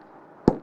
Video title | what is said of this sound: Weapon Cannon 35 Travel Adjust - Weapon Cannon 35 What's Inside - Raw Tutorial | Kahit pukpukin natin ng martilyo yan, hindi siya nababasag. Ayan o. Tumatalbog lang yung martilyo.